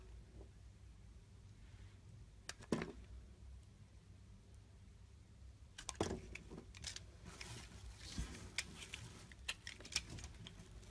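A metal blade cuts thin slices from a solid mint-green bar of soap with an embossed logo. Over a quiet low hum, a few crisp, bright scraping cuts come near the start. Denser, sharper slicing follows in the second half.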